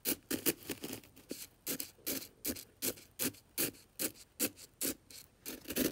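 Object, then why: Coarse salt crystals in a plastic container. A black brush handle is stirred and scraped through coarse white aquarium salt crystals in an open plastic container. It makes rapid, uneven gritty scrapes and crunchy rasps, with bright hiss in the highs and a mid-pitched grainy rustle.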